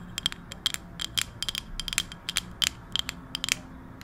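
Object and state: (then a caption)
Wooden coaster tapped with nails. Long acrylic nails tap a round, solid, palm-sized wooden coaster held close to the microphone, making about seventeen quick, dry clicks in an uneven rhythm. Each tap is a sharp, bright tick centred around 2.5 kHz that dies away almost instantly, with only a faint low hum underneath.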